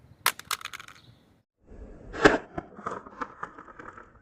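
An old smartphone kept only for parts is dropped from about 50 cm onto a surface at normal speed. It lands with a sharp clatter and several quick bounces, then goes quiet. After a pause, softer handling sounds follow as it is picked up and checked, and it shows no damage and no cracks.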